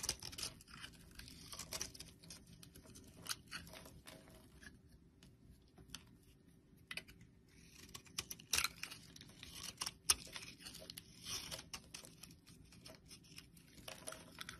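A utility knife blade scrapes and carves a solid blue bar of soap held in the palm, with flakes piling up on top. Dense, bright, crisp scraping and crackling comes in uneven bursts with sharp little clicks and almost no low end, and it quiets briefly in the middle before picking up again.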